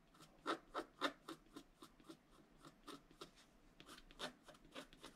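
A wooden stylus scratches short, repeated strokes into the black coating of a flat scratch art card, a black-coated paper board held steady by the other hand. About 16 quiet, dry, rasping scrapes come at an uneven pace, each a brief bright burst with no ring.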